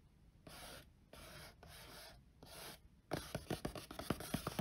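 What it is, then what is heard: Cardboard box lid. Fingertips and short nails trace and scratch across the printed top of a flat, hollow, closed cardboard box lid. Four soft, breathy rubbing strokes come first, then a quick run of sharp, dry nail scratches and taps that echo faintly through the hollow box.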